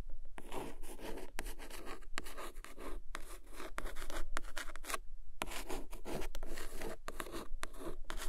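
Long acrylic nails scratch and trace along the embossed cover of a medium-size, solid red cloth-bound hardcover book ("Долгое ожидание") lying flat on a carpet, with a second book nearby left untouched. The result is bursts of dry, bright rubbing and scratching strokes separated by short pauses, over a steady low rumble.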